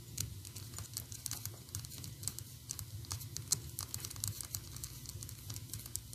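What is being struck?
Small painted PVC figurine on a plastic base.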